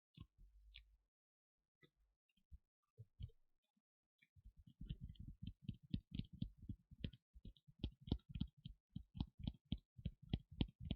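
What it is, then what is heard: Leather costume piece. Fingers tap and scratch on the leather parts of a Rey cosplay costume, tapped for the pleasing sound of the leather. A few scattered soft taps come first, then from about four seconds on a quick, steady run of dull, low thuds that die away almost instantly.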